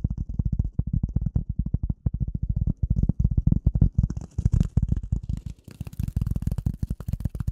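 A rectangular gray polyethylene foam sheet, held over and in front of the microphone, is tapped and scratched with the nails of both hands. Rapid, dense, dull low thumps with very short decay run throughout, and a soft, bright scratchy hiss joins in toward the end.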